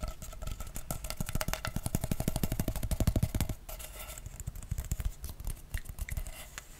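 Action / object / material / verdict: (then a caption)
scrape / corrugated plastic pop tube / plastic / none. Long nails scratch and rub along the ridges of a blue corrugated plastic pop tube toy, a hollow, ribbed tube handled close to the mic. A fast, uneven run of ticking clicks rattles off the ridges over a low, bassy rumble and a faint hollow ring. Just past the midpoint it drops to softer, scattered scraping and rubbing.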